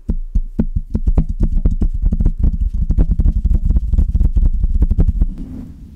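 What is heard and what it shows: Long red-painted nails tap and scratch the hollow metal mesh grille of a large standing Blue Yeti USB condenser microphone with a metal body on a stand, also touching its base. A rapid, uneven run of close, deep thumps is heard, each with a short bright click on top. The taps come boomy and low-heavy over a steady low hum, then thin into a softer scratchy rustle at the end.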